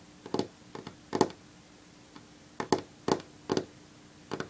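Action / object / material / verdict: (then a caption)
tap / varnished wooden tabletop / wood / none. Long natural fingernails of one hand drum on a solid varnished wooden tabletop, making short, dry clicking taps in quick little bursts with brief pauses between them. Each tap is crisp and dies away almost instantly, with no ring.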